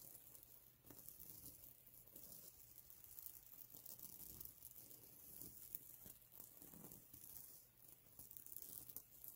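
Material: Plastic sequins.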